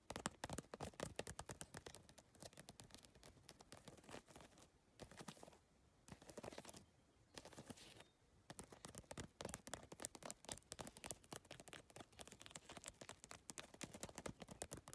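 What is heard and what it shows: Long nails rapidly tap and scratch the plastic tile face of a holographic geometric PVC-tile handbag, making a dense stream of sharp, bright clicks with scratchy textures in between. The tapping briefly drops to quieter scratching around the middle before returning to fast, crisp tapping.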